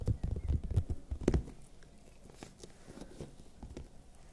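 A large, hollow, raw red bell pepper is tapped with long nails and fingertips close to the mic, giving dull, deep thumps with almost no ring. A quick, uneven cluster of louder taps fills the first second and a half, then softer, scattered taps follow.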